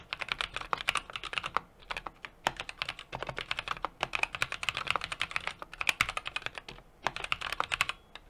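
Fingertips type continuously on a small 60% mechanical keyboard with an aluminum case, brass plate and plastic keycaps. Dense, rapid keystroke clicks with a bright, crisp character and very short decay come in bursts, with brief pauses around the 2, 4 and 7 second marks.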